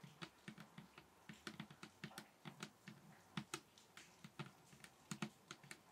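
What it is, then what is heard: Table top, bassy finger tapping. Fingers tap on a table top in a quick, uneven run of soft, short taps. Each tap has a bassy, low thump with a light, bright click on top and dies away almost at once.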